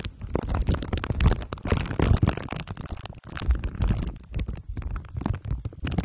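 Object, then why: Microphone head wrapped in aluminium foil and plastic wrap. Glue stick tips are rubbed over the top of a microphone whose head is wrapped in crumpled aluminium foil under clear plastic wrap. The result is a dense run of low, rumbling crinkles and sticky scratches, heavy in the bass with little brightness. The sound surges and fades throughout, with a brief near-silent gap just past the three-second mark.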